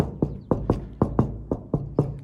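A newly fitted plexiglass door window on a 1936 Chevy coupe is tapped eight times in a steady rhythm. Each tap is a hard, clicky knock with a low, woody body and a quick decay. The knocks sound like real glass.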